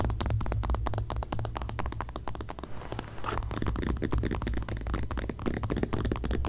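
Long painted nails scratch and tap the glossy, coated paper back cover of a closed magazine lying face-up on a grey blanket. The result is a dense run of quick, dry clicks and crackly scrapes over a steady low rumble. The sound eases into a softer, smoother scratch around the middle before the rapid tapping picks up again.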